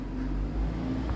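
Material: Nothing is struck.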